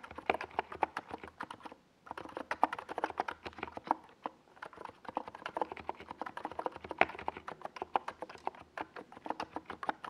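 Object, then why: Plastic mechanical keyboard with plastic keycaps. Fingertips type continuously on a NiZ Plum Atom 68, a small 68-key mechanical keyboard with a white plastic case and purple and yellow Domikey Gas Attack SA plastic keycaps, resting on a desk pad. A steady stream of short, dry, midrange clacks is heard, with little low end and brief pauses near 2 and 4.5 seconds.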